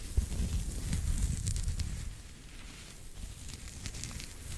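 A small pink knitted pig toy, soft and stuffed or hollow, is held in one hand and scratched with fingertips and short nails close to the mic. The result is a dense, low rumbling scratch with faint bright crackles on top, louder for the first two seconds and then settling into a quieter, steady rustle.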